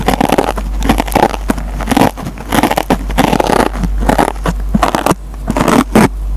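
A metal pencil tip scratches and picks at the green nylon scouring pad of a dry, hand-sized yellow foam Scotch-Brite sponge, pulling fibers loose. Rough, crackling scrapes and tearing bursts come in quick, uneven strokes over a steady low hum.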